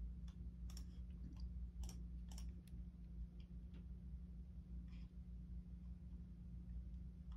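A fingertip slowly presses keys near the arrow and navigation block of a black plastic computer keyboard, making sparse, sharp clicks that stand out brightly. A steady low hum sits underneath throughout, and the clip stays quiet overall.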